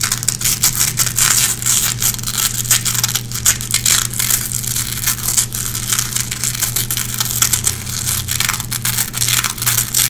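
Long red-painted fingernails scratch and pick across the hooks of a small gray nylon velcro hook patch, making a dense, continuous run of bright, crackling scrapes for about ten seconds. A steady low hum sits underneath the rapid, gritty texture throughout.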